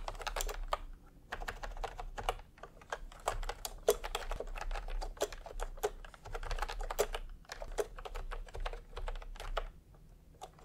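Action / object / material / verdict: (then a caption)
tap / plastic keyboard with round keycaps / plastic / none. A full-size pastel Milk-Tea plastic retro keyboard with round plastic typewriter-style keycaps, resting on white fabric, is typed on fast with the bare fingertips of both hands. Rapid, short plastic clicks and clacks come in bursts with brief pauses, over a steady low hum.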